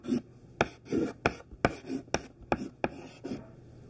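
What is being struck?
Classroom chalk on a chalkboard.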